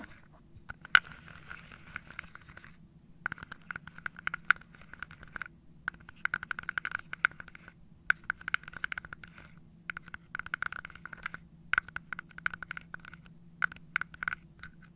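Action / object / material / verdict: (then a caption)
scrape / wooden dominoes in a wooden box / wood / none. Fingernails and fingertips scratch and tap across the tops of wooden dominoes packed in an open, carved wooden box. Bursts of dry, bright scraping come in short stretches separated by brief pauses, with quick clicking taps scattered throughout. A faint, steady low hum sits underneath.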